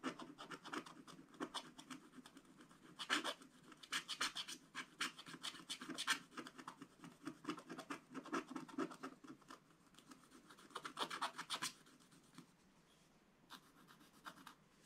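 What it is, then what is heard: Scratch-art paper page. A wooden stylus tip scratches continuously across a black coated scratch-art paper page, working on a tractor picture. Dense, dry rasping strokes come in quick bursts with bright, gritty texture. The scratching thins out to softer, sparser strokes near the end.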